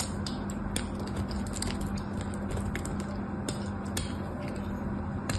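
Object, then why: White bar soap and metal craft knife. A thin, solid white bar soap slab held in the hand is carved and scraped with a metal craft knife, its flakes falling onto soap shavings below. Soft, crisp scraping and small ticking cuts sit over a steady low hum.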